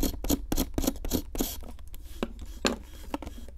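A metal pick with a wooden handle, held in long-nailed fingers, scrapes a solid pink plaster excavation block. A quick series of short, dry scratches comes in a fast rhythm at first, then spreads into sparser, softer scrapes. A steady low hum runs underneath.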